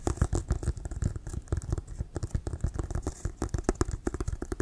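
Fingernails scratch and tap on the sides of a hollow, inflated Wilson brown leather American football near the laces. About 25 quick, dull, low thumps, each dying out almost at once, mix with soft scratchy rustling in a steady, busy rhythm.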